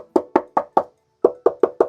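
Eight knocks, in two groups of four, on the bare steel cab floor panel of a VW T6 van before sound-deadening sheets are applied. Each knock is a short, hollow, wood-block-like tap with a faint metallic tone near 500 Hz that dies away almost at once.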